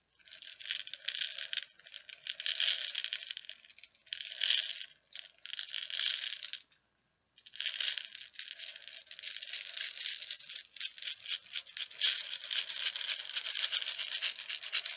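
An open clear plastic tub with a blue handle, about half full of small plastic perler beads, is shaken and tilted by hand. The beads give a dense, bright rattle in bursts, with short pauses between them, and then a longer continuous stretch of steady rattling.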